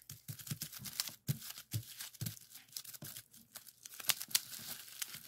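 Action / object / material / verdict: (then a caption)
scrape / plastic bubble wrap sheet / plastic / none. A clear plastic bubble wrap sheet with hollow bubbles is pressed with the fingertips, then twisted and pinched by hand. The result is a quiet run of sharp, bright pops and crinkling, rustling crackles with very short decay.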